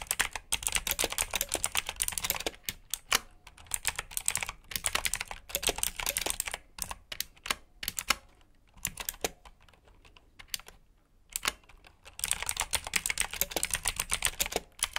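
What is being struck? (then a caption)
Plastic mechanical keyboard. Fingertips type on a black plastic backlit mechanical keyboard with blue switches, producing rapid, bright, clicky keystrokes. The typing comes in dense bursts with short pauses and a quieter stretch near the middle, and each click dies away almost instantly.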